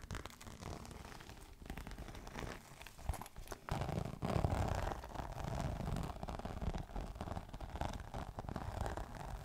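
Fingernails scratch and rub the textured scales of a green crocodile-embossed faux leather clutch held upright. It produces a continuous, dense run of quick, irregular rasping and crinkling strokes, heavy in low-end rumble. The scratching grows louder and fuller from about four seconds in.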